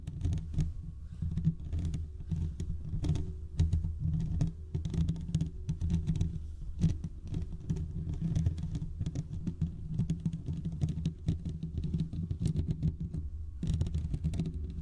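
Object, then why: Steel mesh microphone grille. Fingertips and short nails of both hands scratch the hollow domed steel mesh grille of a large desktop condenser microphone. The result is a dense, continuous patter of scratchy rubbing that sits almost entirely in a deep, muffled low range around 150 Hz, with faint brighter ticks and a brief lull near the end.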